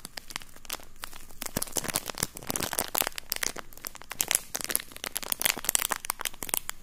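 A thin, empty, flexible clear plastic bag is crinkled and rubbed between fingertips right in front of the microphone. The result is a steady stream of bright, crisp crackles and sharp snaps that stay close and dry, with most of the energy in the high range.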